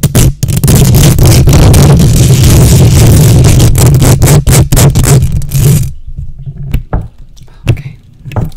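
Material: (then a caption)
Metal mesh. Long nails scratch the hollow metal mesh grille of a silver condenser microphone, using one or both hands. For about six seconds there is dense, rapid, loud scratching with a heavy low rumble. It then drops to a quieter stretch broken by a few separate scrapes.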